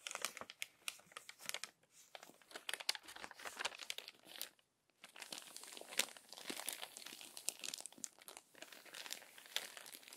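Fingertips and long nails smooth and rub the crinkled pages of a thick, previously crumpled glossy paper magazine lying open and flat, and one page is turned. Dense, bright crinkling and crackling comes in rapid bursts with almost no low end, broken by a brief silence near the middle.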